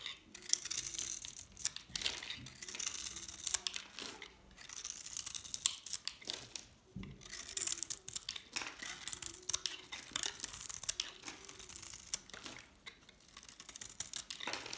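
A metal blade held in one hand scrapes and shaves layers off a hand-held, solid, rectangular dried soap bar that is orange outside and green inside. The result is a quiet, dry, bright scratching and crinkly tearing that comes in runs of fine rasping strokes with brief pauses. It has almost no low end and no ring after each stroke.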